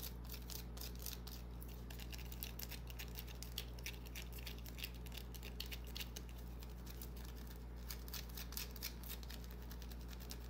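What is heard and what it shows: Long fingernails scratch and tap a small solid white bar of soap held in the palm. The result is a quiet, steady stream of rapid, bright, dry clicks and scratchy ticks over a constant low hum.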